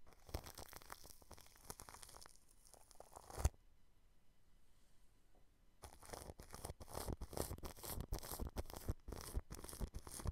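Clear plastic cling film wrapped over a microphone grille is brushed, first with a small orange-handled paintbrush and then with a larger blue-bristled brush. Dense crinkling, rustling strokes with deep low thumps fill the first few seconds. After a near-silent pause of about two seconds, louder, more distinct crackling brush sweeps follow with bright hiss.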